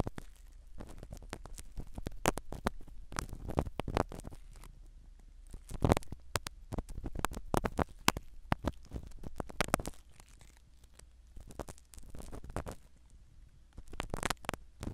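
A black spiral ear pick scratches the small black foam cover of a microphone set inside a silicone dummy ear. The result is close, muffled scratching and crackling with soft low thumps, made of many quick rasps that come in uneven bursts.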